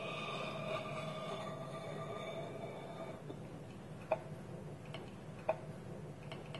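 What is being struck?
Small wooden bowl with wooden lid.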